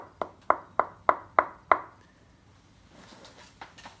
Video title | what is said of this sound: Tone wood tapping: Does it matter? | when we hold it like a guitar and tap it just thuds sounds like any other piece of wood maybe a little different